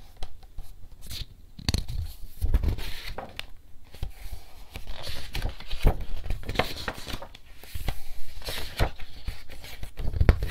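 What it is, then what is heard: Paper picture book pages turned. Fingertips quickly pick up and turn the paper pages of a softcover-style illustrated children's picture book with animal illustrations, held in hand over a table. A rapid series of sharp page flips and rustles comes through, with crisp papery swishes over a soft low thump of handling. Each flip is short and dry, followed by quiet crinkling before the next.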